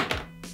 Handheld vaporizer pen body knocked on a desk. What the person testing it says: Puedo escuchar que no suena como un trozo de plástico golpeando el escritorio